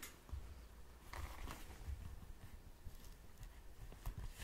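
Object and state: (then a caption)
Leather glove scratched. Fingertips and short nails scratch and rub an empty black and red leather motorcycle glove with ribbed padding. The sound is a quiet, continuous low rubbing, broken by soft scratchy bursts and a few brighter scrapes.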